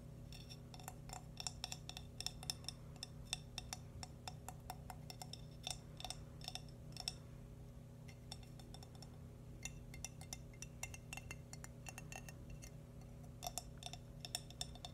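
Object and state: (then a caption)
Glazed ceramic boot figurine. A small, hollow, pinkish-cream glazed ceramic boot-shaped ornament is tapped and traced with long nails and fingertips. Dozens of quick, bright clinking taps with very short ring come in irregular bursts over a steady low hum.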